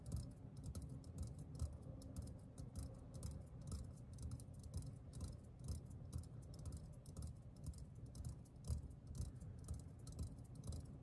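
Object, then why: Metal aerosol deodorant can. A green metal aerosol deodorant can is held in one hand and tapped with the fingertips of the other. The taps come in a steady, uneven patter of soft, low, hollow thuds with faint bright clicks, each dying away almost at once.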